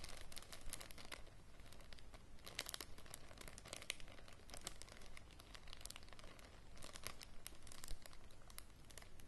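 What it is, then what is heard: Crinkling plastic bag. A small, thin clear plastic bag with greenish contents is crumpled and scratched by fingertips and long matte grey nails. It makes a steady, dense crinkling with sharp bright crackles over a faint low hum, staying quiet throughout.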